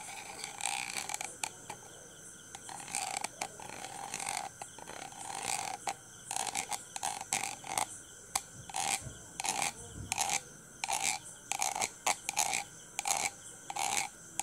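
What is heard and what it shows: A thin red stick, possibly a pencil, scrapes and taps the hollow steel wire-mesh ball grille of a handheld dynamic microphone held in the hand. Irregular bursts of bright, scratchy rasping and quick dry ticks sit over a steady faint hiss, with the scraping centred around 2.3 kHz. The sound stops and starts through the clip.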